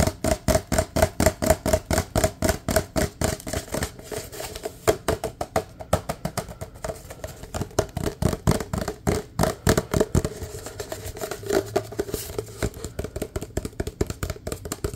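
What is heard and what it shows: Fingertips tap quickly on the side of a large, empty white and red paper cup and inside its open end. The result is a fast, uneven stream of dry, hollow taps with a low-mid tone around 630 Hz. Each tap stops almost at once, with no ring.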